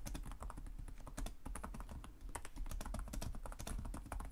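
Fingertips of both hands type rapidly and continuously on a black laptop's low-profile plastic chiclet keys, the hollow device body underneath. Quick, overlapping taps blend into a steady patter, each with a soft low thump and a bright, crisp click that fades fast.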